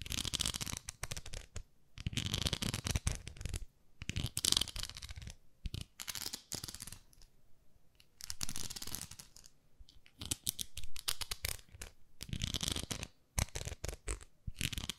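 Long nails tap and scratch the smooth back of a pink plastic facial cleansing brush, a pink plastic pad with a handle. Bursts of dry, bright scratching alternate with brief quiet pauses, and quick crisp taps run throughout.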